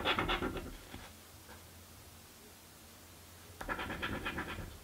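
A coin held in the fingers slowly scratches a crossword-style paper scratch lottery ticket lying on a table. Two bursts of dry, rasping scratches are heard, the first fading after about a second and the second starting near the end, with a quiet stretch of low hum between them.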